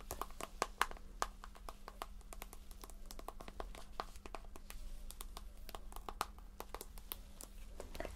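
Long nails tap and scratch a pink, hand-sized soft plastic squeeze tube of facial scrub filled with product. Dozens of quick, dry clicking taps with a tonal ring near 1 kHz are heard over a soft scratchy rustle. A steady low hum runs underneath the quiet clip.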